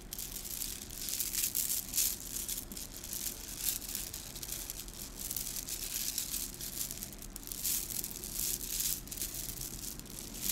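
A string of small hollow gold plastic beads on a garland is held in both hands and squeezed, rolled and shaken so the beads clack together. The result is a continuous, bright, crisp rattling and clicking, mostly high in pitch, that swells and fades in waves.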